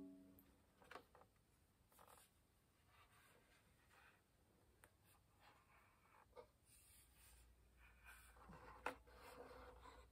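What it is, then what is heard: Wooden violin body. Dark-painted fingernails tap sparsely on the varnished top of a hollow wooden violin held up in the air. About five quiet, dry clicks with a slight hollow knock stand out from a soft, faint background hiss, each dying away almost instantly.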